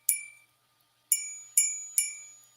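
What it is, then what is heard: Crystal candlestick, real crystal. A vintage three-footed crystal candlestick is flicked with a finger four times, each tap giving a bright, high-pitched ring that decays over a fraction of a second. The clear, sustained ring shows the candlestick is real crystal.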